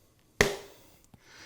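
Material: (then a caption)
Fruit. A firm knock on a whole watermelon gives a single sharp thump with a hollow, resonant tone around 400 Hz that rings briefly and fades. The hollow sound indicates the melon is full of water, a good sign of ripeness.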